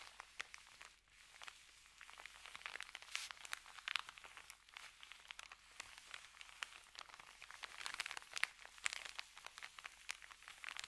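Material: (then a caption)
Paper. Fingertips of both hands rub and scratch across the surface of an empty white paper sandwich bag lying flat. The result is a quiet, steady stream of dense, bright crinkling and scratching, with many sharp, dry ticks and almost no low end.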